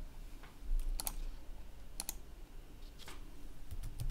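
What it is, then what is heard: Plastic laptop keyboard. Fingertips tap the keys of a black plastic laptop keyboard with a red backlight while typing. Soft, quick clicks with bright edges sit over a steady low hum, each tap fading almost at once.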